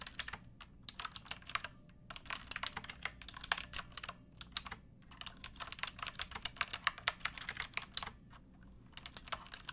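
Fingertips with long painted nails type on a pink backlit plastic mechanical keyboard with round typewriter-style keycaps and a hollow case. Bursts of rapid, bright, clacky keystrokes are broken by short pauses, each click sharp and quickly damped over a faint low hum.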